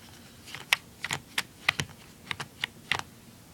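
Fingernails tap and scratch the back casing on the underside of a blue plastic handheld game console. Nine short, bright, clicky taps come at an irregular pace, each dying away almost instantly, with little low-end body.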